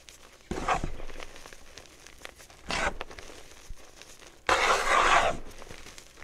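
Bare hands scoop, squeeze, crumble and rub a dry, loose pile of crushed, dyed blue chalk powder with small crumbly chunks, spread over a wooden tray and not in a container. Three gritty, crunchy rustling bursts stand out, the last being the longest and loudest and brightest, with soft crumbly crackles between them.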